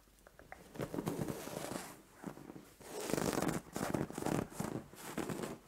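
Long nails and fingertips scratch and rub a soft white fabric bed cover. Dry, papery rustling and scratching come in uneven swells, with brief quiet gaps between the strokes. The result is a close, soft, textured fabric sound with a bright hiss.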